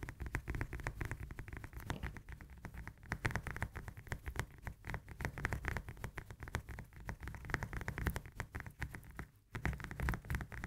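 Long nails tap rapidly on the peel of a whole, solid, fresh lemon as it is held and turned in the hands. The result is a dense, continuous patter of short, dull, low-heavy taps with little ring, broken by a brief pause near the end.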